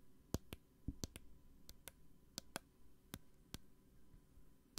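A small clear plastic hand sanitizer bottle with a green flip cap and gel inside is tapped and clicked with long nails close to the microphone. Eleven short, dry, bright clicks and taps sound at uneven intervals over a quiet, low background hum. Each tap dies away almost at once.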